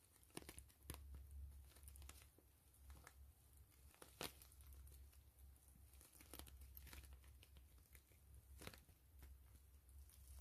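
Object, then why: Plastic mesh zipper pouch. A hollow gray plastic mesh zipper pouch is opened and squeezed while long nails scratch and crinkle the mesh. Dense, quiet crackling and crinkling runs throughout, broken by sharp, bright scratchy snaps, over a steady low hum.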